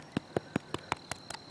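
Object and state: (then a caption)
Bannock bread sounding hollow, baked through. A loaf of bannock bread made from flour, water, baking soda and salt, just taken off the fire, is tapped nine times. Each tap gives a short, dry, hollow knock. The hollow sound shows the bread is baked through.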